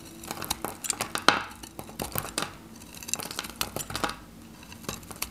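A metal craft knife cuts a solid, faceted bar of varnished, dry yellow Godrej No.1 soap into cubes while the bar is held in the fingers. Many crisp, dry snaps and crackles sound as the blade bites and pieces break off. They are short and bright, with a quick crunchy texture and almost no ring.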